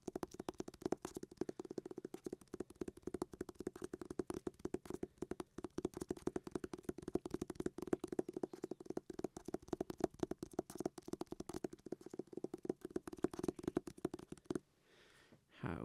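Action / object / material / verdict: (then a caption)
tap / hardback book with cardboard cover / cardboard / none. A hardback book with a cardboard cover is tapped and scratched in a rapid, steady stream of dry, quiet clicks and scrapes centered in the low-mid range. The tapping stops just before the end, leaving a short stretch of near silence and a faint rustle.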